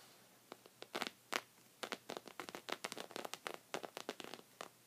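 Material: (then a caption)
Fabric. Short red fingernails on both hands scratch a thick cream textured woven rug of soft knit fabric. A rapid, uneven series of short, dry, bright scratching bursts rises out of a quiet background, each one brushy and crackly with almost no low end. Every burst stops almost at once, leaving no ring.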